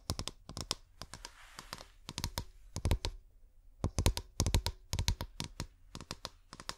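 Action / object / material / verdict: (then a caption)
tap / glass bottle / glass / none. A clear glass bottle with fairy lights inside is handled and tapped with long painted nails, producing a rapid, irregular series of short, sharp clicks and taps. Each tap is bright with a soft low thud underneath and dies away almost instantly. Between the taps come brief, faint scratchy rubs.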